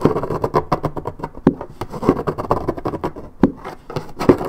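Long red nails scratch the coated cardboard surface of a 1.75 L Minute Maid paperboard orange juice carton held in hand. The result is a dense, continuous run of dry, papery scraping strokes with a few louder, sharper accents. The sound is muffled and mid-toned, and each stroke dies away almost instantly.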